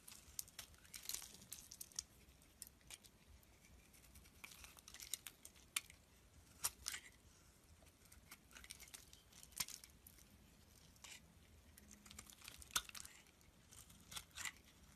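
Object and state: Bar of soap being shaved.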